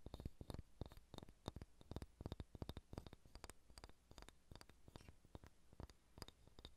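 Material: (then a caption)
Wood. Long red-painted nails tap and scratch a large, solid, unfinished wooden sphere held in both hands. Quiet, rapid, irregular taps land as dull, low, very short knocks with bright clicky edges, and soft scratching fills the gaps between them.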